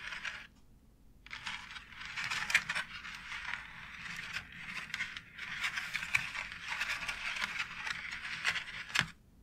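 Long acrylic nails scratch and tap along a white plastic wall tile embossed with a raised brick pattern. The sound is a bright, dry scraping rasp mostly above 1 kHz, broken by short sharp taps and a brief pause near the start, before it cuts off at the end.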